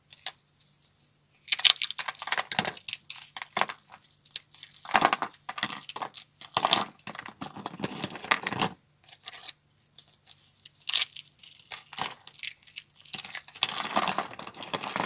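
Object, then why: Soap slab pieces. Thin, dry soap slabs with purple and green speckles are snapped and crushed with fingertips and hands on a wooden board. Bursts of bright, crisp snapping and crunching come in irregular clusters, separated by short pauses. The crunches are dense and high-pitched with almost no low end.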